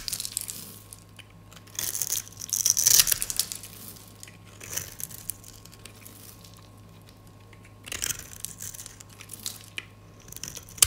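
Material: Soap.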